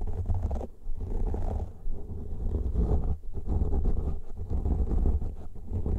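Fingertips and nails scratch and rub a pair of soft, porous black foam windscreens on stereo studio microphones, using both hands throughout. The result is a deep, muffled, continuous rumbling scrape, almost entirely low in pitch, with brief dips in loudness between strokes.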